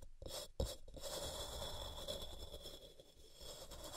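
Long painted fingernails scratch and scrape along the top and sides of a large solid white block of gym chalk (magnesium carbonate) resting on a cork mat, with loose chalk powder around its base. A dry, continuous rasping scrape with a steady bright hiss runs throughout, broken by a few sharper scratches.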